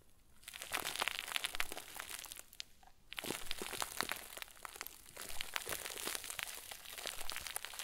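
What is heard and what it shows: A round white plastic bag stuffed into a crinkle ball is kneaded and squeezed by both hands with thumbs and fingertips. It gives dense, bright crinkling and sharp crackles in waves, easing briefly near 3 seconds and again near 5 seconds before building back up.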